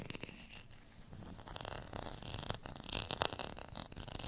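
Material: Plastic.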